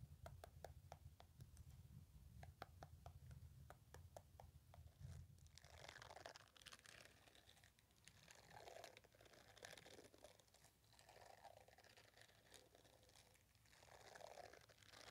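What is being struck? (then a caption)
Silicone face scrubbing brush. A small, solid pink-red silicone facial cleansing brush with fine nubs and a white handle is held in one hand while fingertips and nails scratch and rub across its bristled pad. The first few seconds are a quick run of sharp, crisp ticks over a low rumble. The sound then gives way to softer, bright rubbing swishes that rise and fall in waves.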